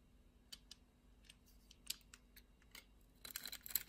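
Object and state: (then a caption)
Black soap bar being scraped. A utility knife blade scrapes small pieces off a solid dark grey black soap bar scored in a diamond grid. Quiet, bright, crisp scraping clicks come at spaced intervals, then bunch into a denser flurry of dry, crackly scrapes near the end.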